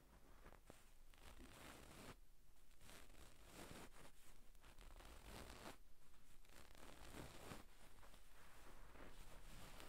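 Long pink acrylic nails on both hands scratch across a medium gold-brown satin damask cushion with tassels, soft and stuffed, lying on a wooden table. The result is a quiet, continuous scratchy rustle with repeated brushing strokes over a steady low hum.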